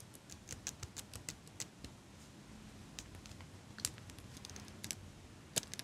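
Fingers with long pink nails squeeze and click a small metal eyelash curler held above the mic. A quick, irregular series of sharp, bright metallic clicks and snaps sounds over a faint, steady low hiss. Each click stops almost instantly, with a few louder snaps standing out.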